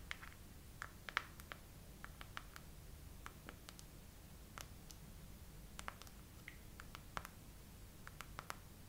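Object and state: Silicone phone case tapped with nails.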